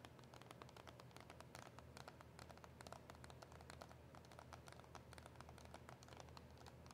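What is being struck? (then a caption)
Cardboard and plastic blister package. A KISS gel press-on nail retail package, white cardboard backing with a clear plastic blister holding the nails, is tapped with long nails. Rapid, dense, crisp clicks and taps run throughout over a steady low hum.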